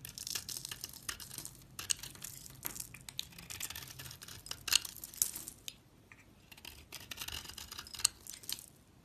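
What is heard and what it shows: A utility knife blade shaves thin curled strips off a solid dark brown bar of soap with an embossed logo, held in the hand. The sound is a quiet, bright, dry scraping and crackling, coming in irregular bursts of shaving strokes with sharp clicks and almost no low end.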